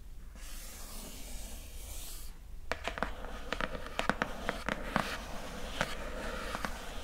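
Long nails rub and scratch across the coated surface of a square, glossy printed cardboard lid, making a soft, airy hiss for about two seconds. After a short pause, the nails tap the lid in a quick, uneven series of sharp, dry clicks. A low steady hum runs underneath throughout.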